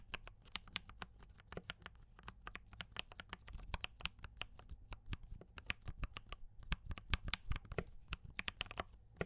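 Fingertips type steadily on a compact D84 mechanical keyboard with brown switches and cream and red plastic keycaps. The result is a fast stream of short, bright clicks over a low thud, each keystroke dying away almost instantly.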